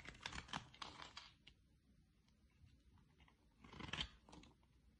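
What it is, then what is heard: Bar of soap being shaved with a blade. A utility-knife blade shaves curls off the end of a solid oval green bar soap, making crisp, bright scraping and cutting sounds. Dense bursts of rasping strokes fill the first second or so, then fade to a quiet stretch with faint scrapes. A second burst of shaving follows near the end.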